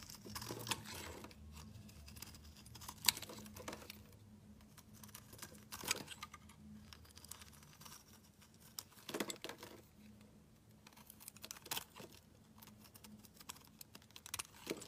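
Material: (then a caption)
Soap. A metal utility knife blade shaves thick slices from a solid pale yellow-green bar of soap. The result is quiet, bright, crisp scraping and crackling strokes with short sharp clicks, over a faint steady low hum.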